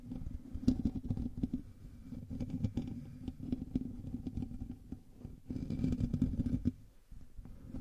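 Both hands scratch the hollow, rounded metal mesh grille of a hand-sized black USB condenser microphone with fingertips and short nails, in direct contact with the recording mic. The result is a dense, boomy scratching and pattering that stays mostly low, around 250 Hz, with almost nothing bright. It swells louder near the start and again late in the clip before a brief quieter dip.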